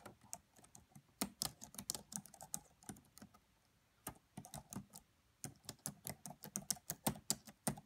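Fingertips with long French-manicured nails tap the black plastic chiclet keys of a red laptop with a hollow body, both hands typing. About 30 quiet, bright, short clicks come in uneven bursts with brief pauses between them, each dying away almost instantly.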